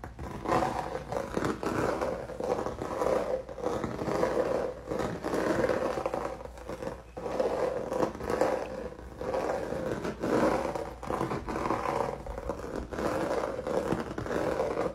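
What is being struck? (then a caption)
Canvas with dried acrylic paint. Fingertips and nails scratch and rub across a flat canvas covered in crinkled, dried red acrylic paint. The result is a steady run of dry, crackly scraping strokes, centered in the midrange around 500 Hz, with little bass and almost no high sparkle. The strokes swell and fade in short bursts throughout.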